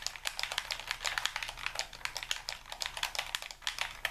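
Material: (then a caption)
Plastic. A white, hand-sized, hollow plastic Xbox-style game controller is held in both hands while thumbs and fingers rapidly tap its buttons and sticks. The result is a quick, uneven stream of short, bright, clicky presses, each dying away almost instantly, with very little low end.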